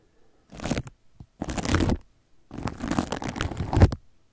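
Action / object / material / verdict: scrape / plastic cling film wrapped around a microphone / plastic film / none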